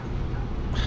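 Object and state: Nothing is struck.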